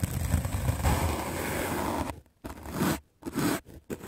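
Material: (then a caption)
Melamine foam. A white rectangular magic eraser block of solid melamine foam, held in the hand, is scrubbed aggressively with a medium black-bristle paint brush. A dense, continuous, low-heavy scraping rustle runs for about two seconds, then breaks into short separate brushing strokes with brief silences between them.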